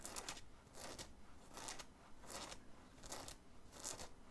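Fingernails scratch the stiff printed graphic on the chest of a worn black cotton t-shirt in rapid strokes. About six short bursts of dry, raspy scratching come at a loose, uneven pace, each bright and hissy over a faint low rumble, separated by quiet gaps.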